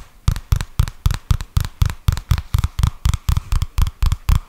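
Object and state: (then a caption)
Paperback book tapped. Fingertips and nails tap and scratch the glossy card cover of a purple paperback book or notebook, a solid, flat stack of paper held upright close to the mic. A steady, even series of dull, deep thumps sounds about four times a second, each one short and dry with a light scratchy edge.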